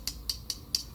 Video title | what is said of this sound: Old School 3 wood VS New School 3 Wood!! | when I go much quieter, almost plasticky